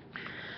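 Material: Plastic.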